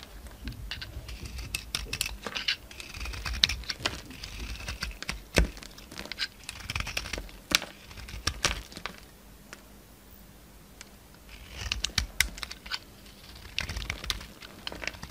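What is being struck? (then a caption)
Soap bar. A utility knife blade shaves thin curls and crumbs off a solid green bar of soap with a gold and red outer coating, held in the hand. Bright, crisp scraping and crackly ticking come in short bursts, with a quieter pause midway before the shaving resumes.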